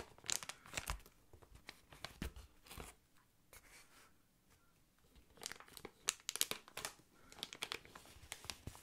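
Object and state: Plastic air column packaging.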